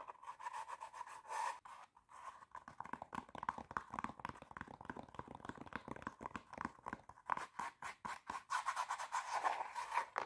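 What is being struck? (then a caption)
Glitter fabric stiletto shoe. Long teal nails quickly scratch and tap on the glitter surface of a hollow, empty silver glitter fabric stiletto pump. The result is a fast, dry run of crisp scratches and clicks centred near 1 kHz, with a gritty high rasp and almost no low end.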